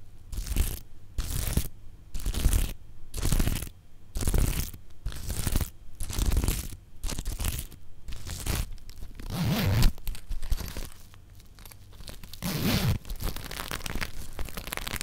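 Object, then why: Plastic sequin fabric pouch. Nails and fingertips scratch and flip the green and multicolour plastic sequins on a small zippered pouch held up close to a microphone, brushing them back and forth. Rhythmic bursts of crisp, crunchy rasping alternate with short pauses for the first several seconds, then blend into a denser, continuous scratching texture.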